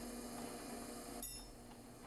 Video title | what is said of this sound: Glass Blowing - Lampworking - Glass Crack-Off Machine - Fusing Shop | you hear that beautiful glass cracking sound